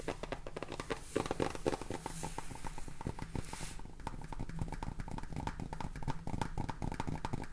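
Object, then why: Plastic salt jar with plastic cap. Fingernails tap quickly on the sides and bottom of a clear plastic salt jar full of salt with a red plastic cap, held close. The result is a fast, uneven run of short, dry clicks over a dull, low body, with a brief soft hiss in the middle of the clip.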